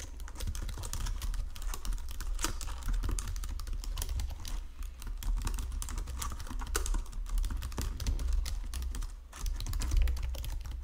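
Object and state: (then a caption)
Plastic computer keyboard being typed on. Fingertips type steadily on a full-size white and silver plastic Logitech keyboard resting on a marble desk, making a dense stream of short, dry key clicks. The clicks sit over a strong steady low hum, with one brief pause shortly after nine seconds before the typing picks up again.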